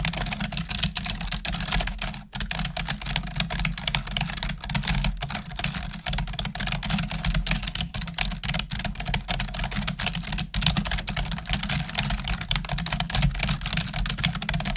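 Long nails and fingertips type on a black plastic desktop keyboard, making a fast, continuous stream of sharp, bright clicks and clacks. A steady low hum sits underneath the dense typing throughout.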